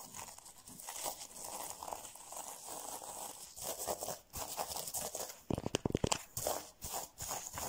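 Fingertips and nails scratch and brush across reversible rainbow plastic sequin fabric covering a soft, padded object, likely a pillow or pouch, flipping the sequins. A steady, bright crinkling rasp runs throughout, then gives way near the end to a quick burst of sharper, clicky flips with short pauses between.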